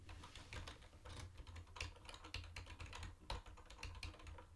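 Fingertips of both hands type quickly on a mint-green plastic retro keyboard with round white plastic keycaps. A steady stream of short, bright plastic clacks runs over a constant low hum, with a few louder key strikes standing out.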